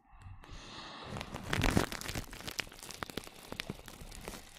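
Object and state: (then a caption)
Plastic cling film. Clear plastic cling film wrapped around a microphone is brushed with a small brush with a black handle. A soft, close brushing hiss quickly builds into dense crinkling and crackling, loudest in the middle, then continues as a steady rustle with sharp, bright crackles on top.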